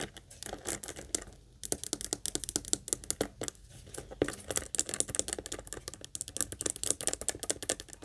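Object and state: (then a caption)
Leather purse tapped and scratched with nails. Long acrylic nails rapidly tap and scratch the front face and top zipper area of a small, hollow, pink saffiano-style leather Kate Spade heart-shaped purse held up in both hands. The result is a dense stream of fast, crisp, bright clicks and scratchy rasps with almost no low end, each tap dying away instantly.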